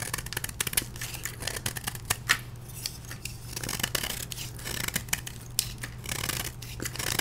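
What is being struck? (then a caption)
Gym chalk block scraped with a metal blade. A solid dark-blue and orange dyed gym chalk block, held in the hand, is scraped with a metal blade, shaving off powdery flakes. Quick, bright, crisp scraping strokes come one after another over a steady low hum, with a few sharper snaps standing out.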